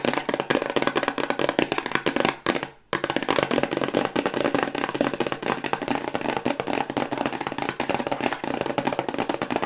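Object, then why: Small hexagonal cardboard box. A small, hollow, white hexagonal cardboard cosmetics box, held in both hands, is tapped rapidly with long white acrylic nails. The result is a dense stream of light, dry, hollow clicks with almost no ring. A brief silence falls near the three-second mark before the fast tapping resumes.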